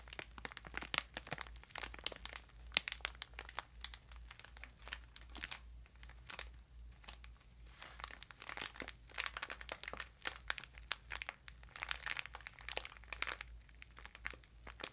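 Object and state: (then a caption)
Plastic-wrapped bath sponge, crinkled. Long almond-shaped nails scratch and crinkle the clear plastic wrapper over a bath sponge, making a dense run of sharp, bright crackles and rustles. The crinkling comes in quick clusters with slower pauses between them, over a steady low hum.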